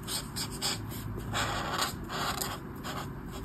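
A black brush marker held by the fingertips rubs short colouring strokes across the thin paper sheet of an open colouring book lying flat. Soft, scratchy bursts of bright, papery friction rise and fade one after another over a steady low hum.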